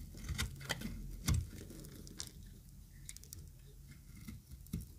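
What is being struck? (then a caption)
Bar soap cut with a metal blade. A yellow-green solid dry bar of soap is scraped and cut with a metal utility knife blade, with shavings falling away. Soft, irregular scraping and crumbling patter is punctuated by sharp, bright clicks that fade almost instantly over a low, dull rumble.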